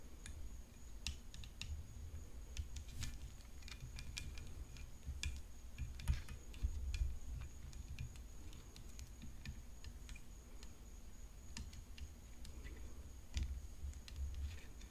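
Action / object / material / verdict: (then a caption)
tap / composite tennis racket frame tapped with fingernails / composite / none. Long nails tap the frame and throat of a hollow composite tennis racket decorated with rhinestones, resting on a black cloth. Quick, dry, bright clicks come in an irregular stream over a low, steady rumble, with a faint high tone holding in the background.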